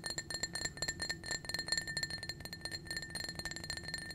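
A small, clear, blue-tinted glass drinking cup, hollow and empty, is held in the hand and tapped rapidly with painted fingernails. The taps make quick, bright clinks with steady high ringing tones that die away almost at once, over a faint low rumble.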